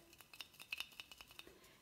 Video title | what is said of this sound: LUSH - "Golden Wonder" CHRISTMAS IN JULY 🎄 2017 Bath Bomb Demo Review Jetted Tub *Deep Thoughts 😉 | it's got a little something in it supposed to be like a little gift